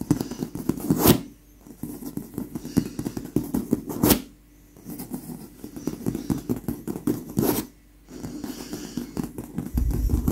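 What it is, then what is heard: Leather pillow. Long pink acrylic nails in lace fingerless gloves scratch and tap across a soft, stuffed white leather pillow. Dense, dry scratching and light tapping sit mostly in the low-mids, with three sharp, bright bursts each followed by a brief quiet pause. Every sound dies almost instantly with no ring.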